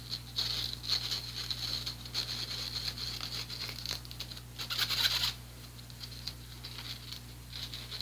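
The fine mesh of an empty, small handheld strainer with a teal plastic frame and handle is scratched and tapped with fingertips and nails. This makes a bright, high, crinkly patter of quick scrapes and light taps over a faint steady low hum. The scratching builds to its busiest burst about two-thirds of the way through, then settles into softer, sparser scratches.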